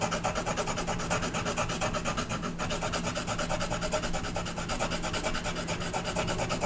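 A brown colored pencil rubs rapidly back and forth over a flat paper coloring page held down by the left hand, shading the horse's body in dense strokes. The result is a continuous, fast, scratchy rasp with a steady pulse and bright, hissy texture over a faint low hum.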